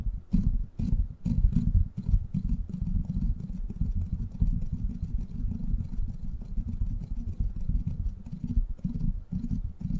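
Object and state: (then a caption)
Metal mesh microphone grille being scratched and tapped. Fingertips and short nails scratch and tap the top of the hollow, rounded steel mesh head of a silver microphone. The result is a dense, continuous stream of deep, muffled thumps and rustling scrapes, almost all low in pitch, with only faint brief ticks reaching higher.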